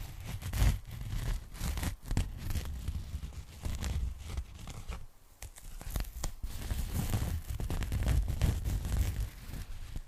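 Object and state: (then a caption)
Polyethylene foam packing bag. Long nails scratch along the surface of a pink polyethylene foam packing bag held open as a sheet, producing a steady, scratchy rustle and crinkle. The sound is dense and rumbly in the lows with faint, bright streaks, and it briefly quiets around the middle before the scratching picks back up.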